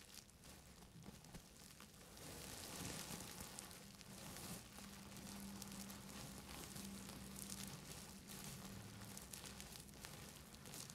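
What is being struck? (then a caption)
Plastic bubble wrap. Gloved fingertips in grey fabric gloves scratch and press a large sheet of clear plastic bubble wrap wrapped around a microphone. The result is a dense, continuous crinkling and scratching with a bright, airy top. It grows louder after the first couple of seconds, over a faint low steady hum.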